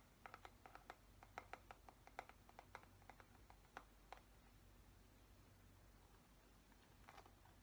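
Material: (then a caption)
Plastic. Fingernails tap and scratch the smooth plastic back of a black plastic paddle hairbrush head, making a quick run of light, clicky taps over the first four seconds. Softer, quieter scratching follows, with a brief burst of taps near the end, all over a faint low background hum.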